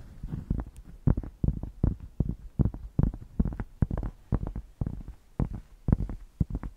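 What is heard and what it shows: A thick, solid cork square held close to the microphones is scratched with long painted nails. The result is a rapid, irregular series of short, dull, bassy scratching strokes, heavy in low rumble with almost no high-end brightness and no ring after each stroke.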